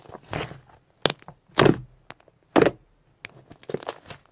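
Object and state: Soft shimmer slime squeezed and poked.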